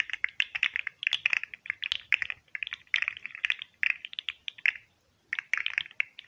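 A green and white hollow plastic fidget slug, held near the mic, is flexed and clicked at its jointed segments by fingertips and nails. The result is rapid bursts of dry, bright clicks with no low end, stopping briefly near the five-second mark before resuming.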